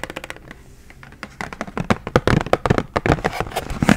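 Long acrylic nails tap and scratch across the clear plastic blister of a hand-sized Expo 8-marker retail pack, full of dry erase markers and backed with cardboard. Rapid, irregular, crisp clicks and crinkly scratches start sparse and soft, then grow busier and louder toward the end.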